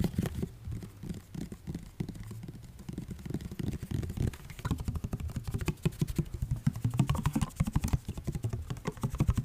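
A plastic body mist spray bottle filled with orange liquid, with a striped label and a pump cap, is held in both hands close to the mic and tapped quickly with fingertips and nails. The result is a steady, uneven patter of short, dull, low-heavy taps with little ring, growing slightly louder toward the end.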